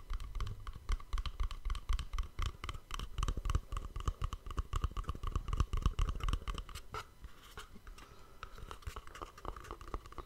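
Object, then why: Small cardboard gift box. Fingertips and short nails rapidly scratch and tap the surface of a small, hollow white cardboard gift box wrapped with dark elastic cord and a bow, held in a hand close to a microphone. The steady, roughly four-per-second scratchy taps have a dull, low hollow thump and a faint ringing tone around 1 kHz. After about seven seconds they soften into quieter, lighter scratching.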